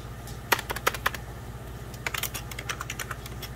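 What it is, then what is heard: Plastic computer keyboard being typed on. Fingertips of both hands type on a hollow, beige 1990s Packard Bell plastic computer keyboard. Two irregular bursts of sharp, bright key taps click and clack over a steady low hum, each tap dying away almost instantly.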